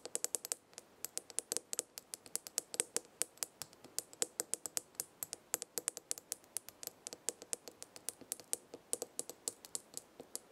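Fingernails tap and scratch a small glass jar with a gold lid, full of dried herbs, while a hand grips it. About 65 quick, dry, bright clicks come in a steady run over quiet background, each dying away almost instantly with a faint glassy tone around 500 Hz and almost no low end.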